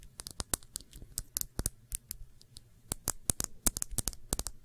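Long nails tap quickly on a small, clear glass shot glass with a thick base, hollow and empty and held on its side. The result is a fast, irregular run of sharp, bright clicks with almost no ring, over a low, soft rumble.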